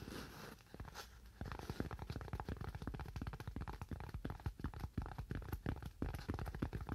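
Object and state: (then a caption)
Styrofoam sheet. A thin, curved white styrofoam sheet held in both hands is tapped and scratched with fingernails. It gives a quick, irregular run of dull, low, bassy taps with squeaky, crunchy scratching between them, each tap dying away almost instantly.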